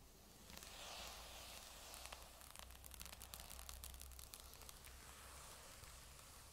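A grey Surface tablet lies face down while long nail tips tap and scratch its magnesium metal back. The taps come as sharp, bright clicks over a steady scratchy hiss, with an added echo and a low hum underneath.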